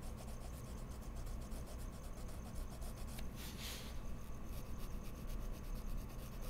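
A wooden colored pencil tip scratches quick shading strokes across drawn petals on a large flat white sheet of mixed media paper in an open pad, with spare pencils held still at the left edge. A steady, soft, rhythmic rasping runs throughout over a low constant hum, with one brief, brighter scratchy swell near the middle.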